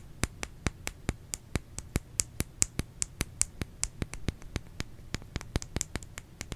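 A bar of soap is tapped in a steady, quick rhythm, producing 33 short, dry clicks with a bright, high top and almost no ring. The taps come at a fairly even pace over a quiet, low background hum.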